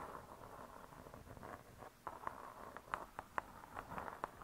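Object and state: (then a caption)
Spiral-bound hardcover cookbook tapped with nails. Long nails tap the cardboard-covered cover of a spiral-bound hardcover cookbook. The soft, dull taps ring around 1 kHz and die away almost instantly. They start as a faint, blurred patter and become sharper, separate clicks in the second half.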